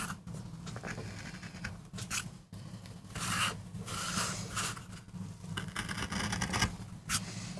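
A metal gouge carves and scrapes fine lines into a small, flat, solid MDF board, cutting a rose design for a relief print. Short bursts of bright, dry scraping and rasping strokes repeat at irregular intervals over a steady low hum.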